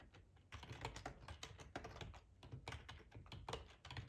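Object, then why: Plastic computer keyboard. Fingertips type on a black plastic ergonomic split keyboard with a hollow housing, resting on a cloth tablecloth. Rapid, uneven key taps give a steady run of short bright clicks over a low, hollow thump, each one dying away almost at once.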